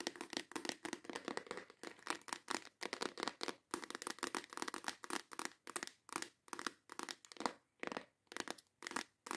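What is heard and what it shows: Long acrylic nails tap rapidly and intensely on the lid and sides of a clear plastic compartment box full of nail tips. The result is a dense stream of short, bright plastic clicks and ticks with almost no low end and no ringing, broken by brief pauses.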